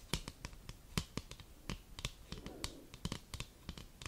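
Long burgundy nails scratch and tap the back of a thin, folded white cardboard Christmas card held close to the microphone. Quick, sharp, dry taps with bright clicks and a low thump are heard, with a soft rustling scratch midway, each tap dying away almost instantly.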